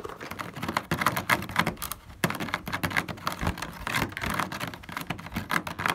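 One hand rapidly taps and scratches across the hollow honeycomb cells of a black plastic car grille with fingertips and nails. The result is a dense, fast patter of short, dry plastic clicks mixed with scratchy rasps, with each tap dying away almost at once.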